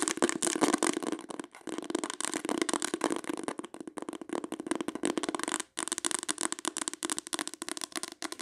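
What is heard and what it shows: Long acrylic nails tap and scratch rapidly across the cover of a solid green embossed faux-leather hardcover book or journal, held and then laid flat. Dense, crackly clicks and scrapes run almost continuously with a warm midrange body and a bright edge, broken by brief pauses near one and a half and nearly six seconds.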